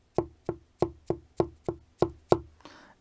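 Fabric glued onto a wooden pavise shield is tapped nine times, giving short, dry, woody knocks with a clear tone around 350 Hz that die away almost at once; the last tap is softer. The spot is properly bonded, and the sharp, solid knock is how a well-glued area should sound.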